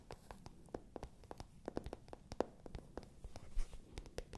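A light-pink matte faux-leather zip pouch, hollow and held in both hands beside the microphones, has its smooth surface tapped and scratched by long nails. The result is a quiet, rapid stream of dry, short clicks with a hollow mid-low knock around 500 Hz and soft scratching between them. Each tap stops almost instantly with no ring.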